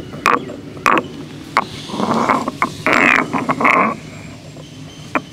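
A solid stone pestle is ground and rotated by hand inside a hollow, grey carved stone mortar. Sharp, bright scraping clicks alternate with longer, gritty grinding passes at an uneven pace, each stopping dry with almost no ring.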